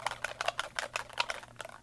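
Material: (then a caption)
Plastic. A Ranger Perfect Pearls Mist spray bottle, plastic and filled with pearl powder liquid, is shaken so the mixing ball inside rattles against the walls. The result is a quick series of bright, dry clicks, with about nine distinct rattles in under two seconds. The ball is there to keep the pearl powder evenly distributed through the liquid.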